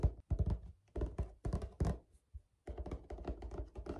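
Short fingernails tap and scratch across a large, flat, white plastic lid with a woven-look perforated pattern and a hollow space underneath, likely from a storage box or laundry basket. The result is quick bursts of dull, low, hollow thunks with short scratchy rustles, separated by brief pauses and then a denser run of tapping at the end.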